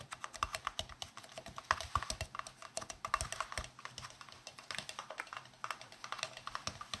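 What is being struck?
Translucent plastic round case.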